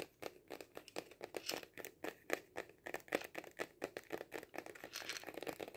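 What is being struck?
Cardboard kaleidoscope tube.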